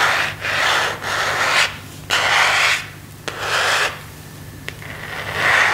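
Fingernails and fingertips rub and scratch across the surface of a thin, hollow, empty plastic phone case with a marble print. Bursts of dry, raspy friction noise in the mid-to-high range swell and fade, broken by a few short, sharp clicks.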